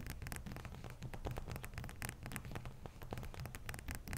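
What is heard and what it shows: A wide, solid, bowl-shaped block of frozen ice resting on a towel is scratched across its top with long fingernails. The result is a quiet, continuous run of dense, gritty scratches with a low rumbling body and brief bright ticks.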